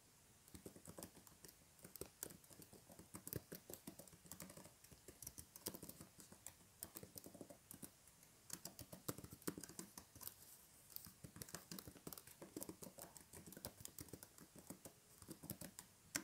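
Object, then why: Plastic tablet keyboard. A flat, thin plastic tablet keyboard in a blue cover lies on a table while both hands type on its plastic keys with their fingertips. Rapid, dense key taps run steadily through the whole clip, with short clicky strikes and brief bursts of faster typing.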